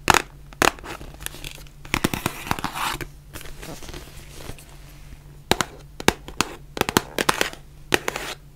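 A white printed cardboard face mask box is held in both hands while long nails tap and scratch it. Sharp, bright taps come in irregular clusters between softer scratching and rubbing, over a faint low hum.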